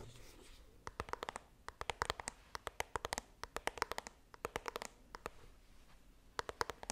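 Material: Cardboard.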